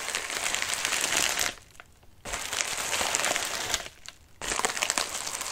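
Fingertips and nails scratch the wrinkled surface of a medium white padded mailer resting on a lap. Dense, bright crinkling and crackling comes in three bursts separated by two brief quiet pauses.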